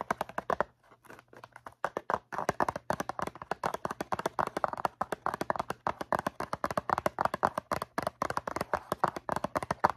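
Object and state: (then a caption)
Cardboard cotton swab box. Long nails tap quickly on the faces of a hollow, rectangular cardboard cotton swab box filled with swabs. The result is dozens of short, dry, clicky taps centered in the midrange, with a brief sparse stretch near the start and a faint steady low hum underneath.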